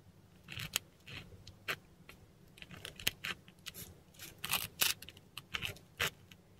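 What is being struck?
Textured paper sheet scratched by a metal dip pen nib.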